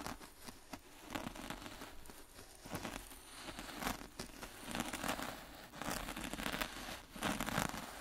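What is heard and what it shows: A gloved hand drags a small metal mini rake through fine black-and-white speckled sand in a shallow white plastic tray. The result is a continuous gritty scraping and crinkling texture, swelling with each rake stroke and bright with fine crackle.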